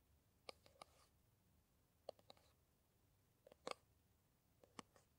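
Long nails tap and scratch the surface and cap end of a small, soft-walled green plastic Kamill hand cream tube held in both hands. Quiet, dry clicks come in scattered clusters, with a hollow midrange tick and a bright edge, and they stop dead with no ring. A faint scratching hiss sits between the taps.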